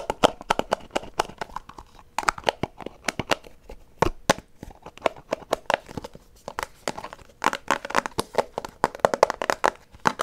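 A small white plastic Extra gum box is tapped and scratched with fingernails while being turned in the hand. Rapid, dry clicks and crinkly scratches with bright, sharp edges sit over a mid-range body. Each one cuts off at once with no ring.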